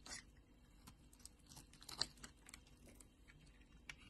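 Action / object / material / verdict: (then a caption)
scrape / bar of soap scraped with a knife blade / soap / none. A solid pink bar of soap, held in hand, is carved and scraped with a utility knife blade so shavings peel off. Quiet, bright, crisp scratches and clicks come at an irregular pace with very short decay, and the sharpest cut lands around the middle of the clip.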